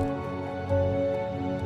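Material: Nothing is struck.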